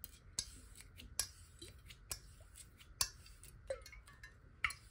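Long fingernail tips tap lightly on a clear glass water bottle that is held horizontally and partly filled with water. The result is a series of quiet, bright, ticking clicks at an uneven pace, each dying away almost at once with a faint glassy ring.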